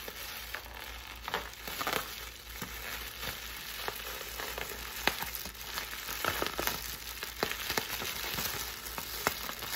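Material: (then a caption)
Plastic. Clear plastic air-cushion packing wrap, held close, is scratched and crinkled with long nails and fingertips. The result is a steady bright crackling hiss broken by sharp little pops and crinkle spikes.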